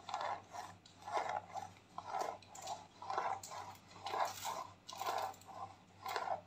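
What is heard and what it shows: A white plastic clay mask tube is scratched with fingernails and rubbed with fingers, producing soft, crinkly scraping bursts that come in an uneven rhythm about once a second. Each stroke has a mid-range rasp with a brighter hiss on top, set over a faint steady low hum.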